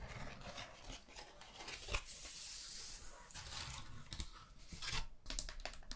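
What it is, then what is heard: Paper hand fan. Long nails tap and scratch across a thin, flat, round pastel paper hand fan with a bamboo handle. Quick dry taps and crinkly papery scratches are heard, with a sustained bright rasping scrape in the middle and a low rumble underneath.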